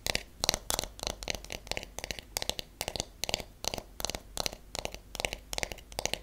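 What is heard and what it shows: The flat back of a solid wooden paddle hairbrush is tapped with long nails in quick, uneven bursts. Each tap gives a sharp, bright click that stops almost at once, with little low end. The taps cluster into rapid rolls separated by brief pauses.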